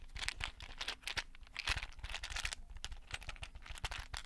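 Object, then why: Clear plastic box filled with small beads. A small, hollow, rectangular clear plastic case filled with many small colorful beads is held in both hands close to the mic and tapped and shaken with fingertips and painted nails. The result is a dense, quiet stream of quick, dry clicks and bead rattles, bright and crisp on top with soft low thumps beneath. Each tap dies away almost instantly.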